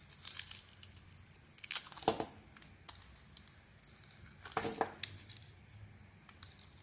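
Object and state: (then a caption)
Bar of soap being carved. A metal blade carves a solid oval bar of soap held in the hand, shaving curls off its red glitter coating and cream inside. Dry, crinkly scraping and tearing strokes sound bright, with two louder shaving bursts standing out from quieter scratches.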